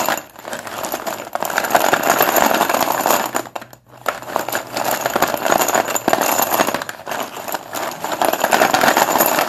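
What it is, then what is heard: Chalk sticks rattling in a plastic bowl. Solid white chalk sticks piled in a blue plastic bowl are grabbed and stirred with both hands, making them knock and rattle together. The result is a dense, continuous clatter of short, dry clicks with brief pauses around one second and just under four seconds.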